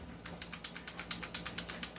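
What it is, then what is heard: Airsoft pistol with a loose, rattling barrel. A non-upgraded Godfather airsoft pistol is shaken and tapped, and its loose barrel gives about 15 quick, bright clicking rattles over a low steady hum. The rattle shows the barrel wobbles, unlike an upgraded unit, which has a fixed barrel.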